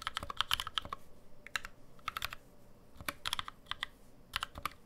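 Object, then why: Aluminum mechanical keyboard with plastic keycaps. A black NovelKeys NK65 65% mechanical keyboard with an aluminum case, plastic keycaps and lubed NovelKeys Cream switches, resting on a deskmat, is typed on continuously with the fingertips of both hands. The result is quick bursts of sharp, bright, short clacks with almost no ring, separated by brief pauses.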